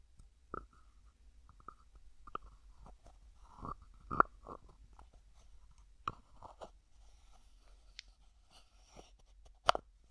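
Fingertips slowly twist the plastic screw lid of a small white plastic cosmetic jar held in one hand. Quiet, dry clicks and scraping creaks repeat around a tonal squeak near 1.3 kHz, with several sharper ticks standing out and a few brief high, bright scratches.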